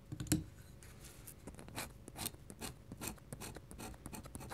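A fine metal pen nib scratches repeated short hatching strokes across a large, flat white paper sheet resting on a table. The result is a quiet series of quick, dry, scratchy strokes with rapid onsets and bright, papery hiss, opening with one louder scrape.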